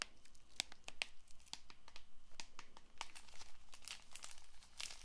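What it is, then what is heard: Cellophane-wrapped paperboard card box. Long nails scratch and tap the surface and edges of a small cellophane-wrapped paperboard playing card box held close to the microphone. A quick series of sharp, bright clicks and crinkly scratches sounds over a faint low hum, with each tap dying away almost at once.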